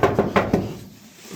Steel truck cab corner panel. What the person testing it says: It's all all metal. No bondo.